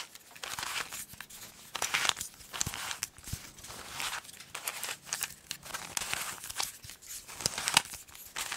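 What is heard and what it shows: A small solid plastic 3x3 Rubik's cube is held in both hands and twisted while long nails click against its colored faces. The result is a steady run of quick, bright plastic clicks and rasping, crinkly scrapes in short uneven bursts, with almost no low end.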